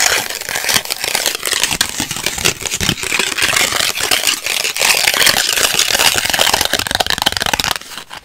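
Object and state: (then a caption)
Instant photo print. Long white acrylic nails tap and scratch the surface of a small, flat, thin instant polaroid print with plastic-coated photo paper, a white frame and a purple image, held in both hands. The result is a dense, bright run of quick crackling taps and scratchy rasps with almost no low end, steady for about eight seconds before dropping off at the end.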